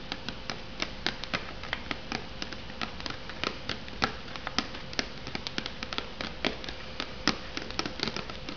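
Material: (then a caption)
Cardboard. Long nails tap and scratch the cardboard sleeve on an unopened, hollow instant noodle cup. The result is a quick, irregular run of short, dry, clicky taps with no ring, over a soft scratchy rustle. A faint steady hum sits underneath throughout.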